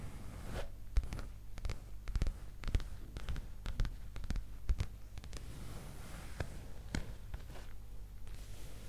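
A black leather skirt, a soft flexible garment held in hand close to the microphone, is scratched and rubbed with long green acrylic nails. Quick, sharp scratching ticks sit over a soft, rustling, low background hum.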